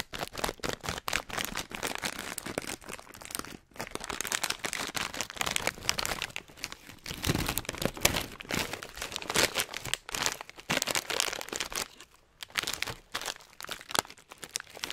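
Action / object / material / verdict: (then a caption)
scrape / metallized plastic foil snack bag / plastic foil / none. A filled, hand-sized Hot Nuts snack bag of metallized plastic foil is crinkled and squeezed by the fingertips close to the microphone. Dense, bright crackling and crunching runs almost continuously, with brief pauses near 3.7 and 12 seconds.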